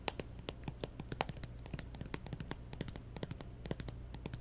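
Long nails tap and scratch the lid of a closed, hollow pink plastic Nintendo 3DS XL with stickers, lying on a table. Quick, dry clicks with bright edges come in a dense, uneven stream over a low steady hum, each one dying away almost instantly.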